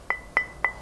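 A porcelain tile is tapped three times, each tap giving a crisp, bright click with a short ringing tone near 2 kHz that fades within a fraction of a second. The sharp, clear sound suggests a dense tile body, unlike the dull thud of a lower-density earthenware tile.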